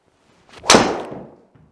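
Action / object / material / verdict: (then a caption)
strike / golf driver with carbon face striking a ball / carbon / muted. A golf ball is struck with a Stealth 2 carbon-faced driver, giving a single dull, muted, lower-pitched impact that fades quickly. A faint whoosh comes just before the strike, and a soft rustle follows near the end.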